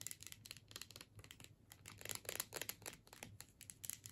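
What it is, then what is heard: Plastic tube with metal screw cap. Long nails scratch and tap across the label of a filled plastic tube and the top of its metal screw cap. The result is a quiet stream of rapid, dry, bright scratches and clicks that die away almost instantly, over a faint low hum.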